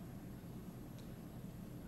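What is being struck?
Nothing is struck.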